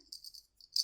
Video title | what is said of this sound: "Snowing Awe" Memory Scrapbook with photos (sold, thank you) | so it rings you can hear it